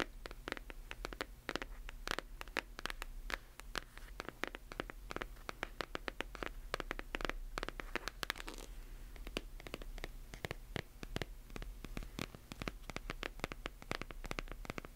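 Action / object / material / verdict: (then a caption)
scrape / hardcover book, paper and board / paper, cardboard / none. A hardcover book held flat has its page edges and cover scratched and tapped with long nails. Rapid, dry, bright clicks and scratchy rasps follow one another throughout, each dying away almost instantly over a steady low hum.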